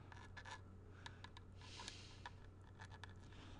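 A thin pointed tool traces and scratches along the ridges of a small, hollow grey plastic SNES-style game cartridge with a paper label, held in the hand. Light, dry scratching and a series of quick, crisp ticks play over a steady low hum, with one brighter, longer scrape in the middle.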